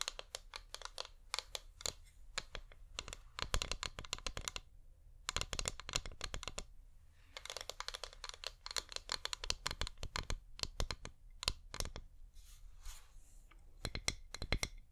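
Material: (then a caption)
Wax. A hand-sized, wax-covered flameless LED pillar candle with a hollow top is tapped with painted nails. Many rapid, sharp clicks come in quick bursts with brief pauses, each hit dry and bright with almost no ring, over a faint low hum.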